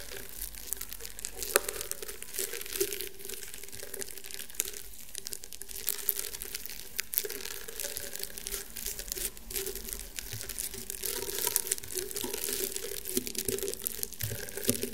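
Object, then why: Woven rattan table mat. Fingernails scratch across the weave of a flat, round woven rattan table mat, making a continuous dry, crackly rasp with bright, brittle textures. Faint sharper clicks stand out over a steady low hum, and the scratching carries on evenly throughout.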